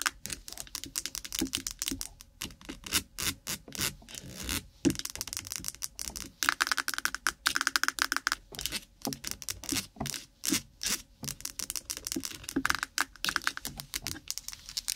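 A small, lidded white plastic jar of Vaseline petroleum jelly is held in front of the microphone while long nails tap and rub fast along its sides. The result is a dense stream of sharp, dry, clicky taps that die out almost instantly, bright and high in tone. Short bursts of scratchy rubbing break up the tapping, with brief pauses between the flurries.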